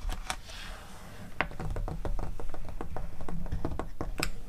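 Long acrylic nails tap and rub the pages of an open glossy paper catalog, with some page turning. A soft papery swish gives way to a quick, uneven run of sharp, dry clicking taps that stop short with no ring.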